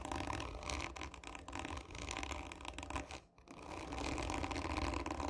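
Long nails on both hands scratch hard and slowly across the textured surface of a hollow cardboard tube lying on its side, making a dense, rasping scrape with a low hollow rumble beneath and bright grit on top. The scratching runs almost continuously, dropping briefly into near-silence just past three seconds before building back up.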